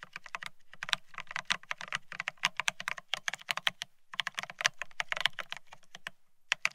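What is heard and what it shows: A Bear65 mechanical keyboard with blank white matte ceramic keycaps on a steel plate, resting on white cloth, is typed on rapidly by both hands pressing the keys with fingertips. A dense run of sharp, bright clacks is heard with very short decay, pausing briefly around the fourth second and again near the end.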